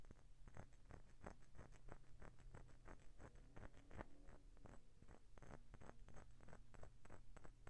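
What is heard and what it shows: Short painted fingernails tap and scratch along the embossed ridges of a hollow vintage pale green glass Coca-Cola bottle holding a small amount of liquid, and the bottle is tilted sideways at the end. A quiet, steady stream of quick, dry clicks and scratchy taps plays over a low, muffled rumble, each tap dying out almost instantly.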